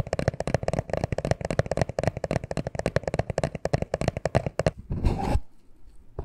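Fingertips and nails scratch and rub the sides of a small, hollow black cardboard necklace package. Rapid, dry, dull scratching taps run for almost five seconds, then give way to a single broader, hissy rub. The sound fades to near silence, with a faint scratch at the very end.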